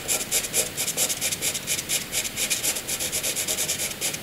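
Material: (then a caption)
Graphite. A wooden graphite pencil hatches light strokes on white paper, its tip scratching the surface. About 19 quick, bright, scratchy strokes follow one another in a steady back-and-forth rhythm, each a short, papery rasp with almost no low end.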